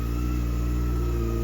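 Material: Nothing is struck.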